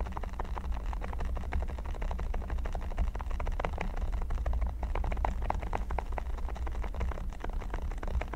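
Fingertips and short nails scratch and tap across the studs of a flat, solid, red silicone pyramid-studded mat. A dense, continuous run of short, dry ticks and rubbery scrapes sits over a steady low rumble, with little high-end content. The clicks are quick and blur together without clear gaps.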